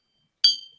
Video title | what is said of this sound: 4-Eyed Vintage - Live Vintage & Antique Home Decor & Collectables | It's a nice solid sound. Sounds like a train bell.